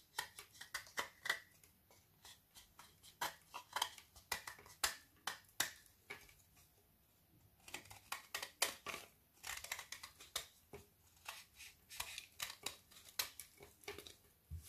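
A metal knife blade repeatedly scrapes and shaves along the cut edge of a hand-held, solid, frozen Milka milk chocolate bubble bar, its aerated white filling exposed. Dozens of quick, dry, bright crackling scrapes come in uneven bursts, with a brief quieter pause near the middle.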